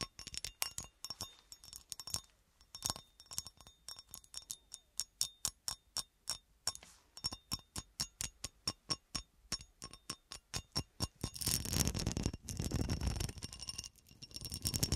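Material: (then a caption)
Glass. Long dark nails tap rapidly across a clear, solid cut glass horseshoe with a ribbed texture, held upright in both hands, producing a steady run of short, bright, clinking clicks that die away almost instantly. Toward the end, the nails switch to scratching, and the taps blur into a louder, continuous rasping scrape over the ribbed glass.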